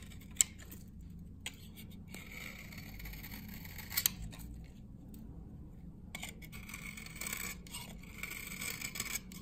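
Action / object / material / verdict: scrape / glycerin soap bar scraped with a metal blade / glycerin soap / none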